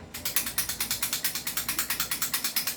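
An airsoft rifle with a loose, non-fixed barrel is shaken, producing about two dozen quick, bright metallic rattles in a steady rhythm. The loud rattling marks it as faulty, unlike the fixed-barrel 2011 JWC Sand Viper.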